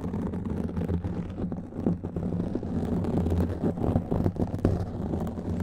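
Fingertips and nails of both hands scratch a black foam windscreen on a microphone. A steady, muffled rumbling scrape fills the clip, heavy in the low end with almost no brightness, with brief louder rasping bursts rising from the continuous texture.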